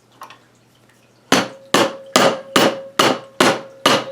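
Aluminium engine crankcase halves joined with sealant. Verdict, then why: Loose. A mallet strikes the sealant-joined aluminium crankcase of a 1980 Suzuki FZ50 engine seven times in a steady rhythm, each blow a sharp, hollow knock with a brief ring near 550 Hz. After faint taps at the start, the repeated strikes break the sealant seal loose and the crankcase halves separate.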